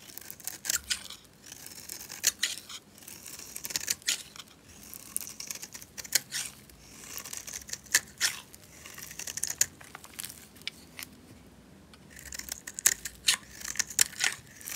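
A solid, dry, red rectangular bar of soap, held in a hand with long nails, is carved and scraped with a metal utility knife blade, shaving off thin layers. The result is crisp, bright scraping and crackling in short bursts with sharp ticks, separated by quiet pauses.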